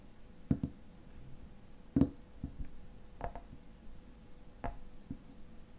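Fingernails tap the silver metal cap of a tall frosted glass lotion bottle, making seven sharp, quiet clicks in uneven pairs and singles. Each tap dies away almost at once against a low background hum.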